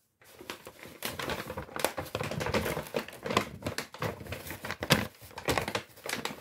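A large, empty brown Lidl kraft paper shopping bag is crumpled and rubbed by hand close to the microphone. It gives a dense run of dry, crackling crinkles, with sharp bright snaps standing out over steady papery rustling. There is brief quiet at the start and a short pause before the end.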